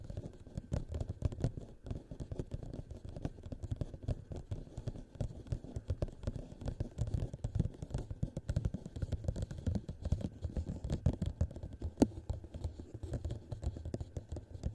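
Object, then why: Thin plastic cup. Fingertips and short nails tap quickly around the walls of an empty clear plastic cup turned upside down over a microphone. The result is a dense, steady stream of short, muffled, low thuds with occasional sharper clicks, each dying away almost instantly.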